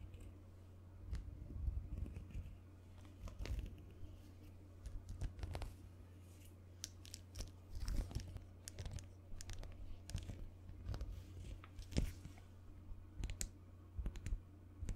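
A small black digital wristwatch with a solid black resin/plastic strap is held up by the strap and handled with fingertips and nails, tapping and scratching the case and strap. Quiet, crisp clicks and dry crinkly scratches come in irregular bursts, with bright ticks over a steady low hum throughout.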